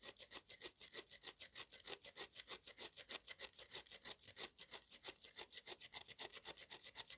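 A metal knife blade repeatedly scrapes the dusty surface of a solid lump of dry red mud held in one hand, shaving off powder. A quick, steady run of short, dry scraping strokes is heard, each a bright, gritty hiss with almost no low end. The sound stays quiet throughout.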